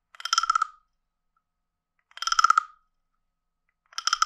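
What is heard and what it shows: A wooden stick is scraped along the ridged back of a hand-sized, hollow, carved wooden frog guiro. It gives three rasping, ratcheting croaks, each a quick run of clicks with a hollow tone around 1.3 kHz, separated by silence. The last croak is cut off at the end.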